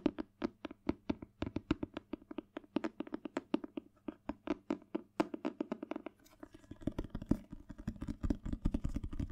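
Fingertips tap rapidly on the glossy cardboard cover of a thick Spanish paperback dictionary, a solid book held upright. The dozens of short, dull, hollow knocks centre around 280 Hz and die away almost instantly. In the last few seconds the taps grow denser and overlap with a brighter, rustling texture.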